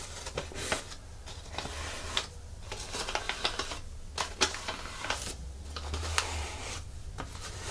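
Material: Plastic.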